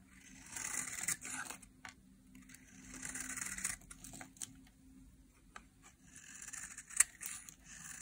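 A utility knife blade carves and scrapes shavings off a small, solid, rectangular bar of dry yellow soap held in a hand with long painted nails. Bright, crisp scraping comes in several sweeping passes, with a few sharp clicks and quiet pauses between them.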